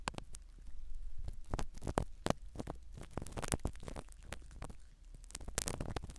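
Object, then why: Foam-covered microphone in a silicone ear. A black spiral ear pick scratches and pokes at a small black foam-covered microphone set in a silicone dummy ear. Close, muffled rustling and crackling scrapes are heard, with sharp, dry taps that cut off instantly over a low rumbling undertone.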